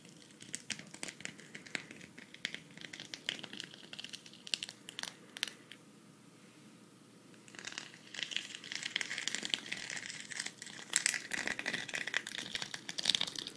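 A flat, hand-sized cactus-shaped patch covered in green plastic sequins is held near the mic and scratched and brushed with long red nails. Dense, bright crinkling and clicking scratches run throughout. A quieter pause comes around six to seven and a half seconds, then a fuller, busier stretch of sequin rustling follows.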